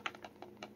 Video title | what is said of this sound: Gen 2 Kobalt 24 Volt Impact Driver Issues | you don't need to shake it that violently to feel it or hear it